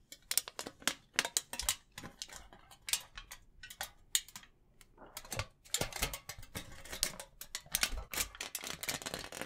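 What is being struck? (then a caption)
Thin aluminium foil sheet. A thin sheet of silver aluminium foil is held close to the microphone while fingertips crinkle, rub and pinch it. The result is a dense run of sharp, bright crackles and rustles with very short decays, mostly high-pitched with little low end.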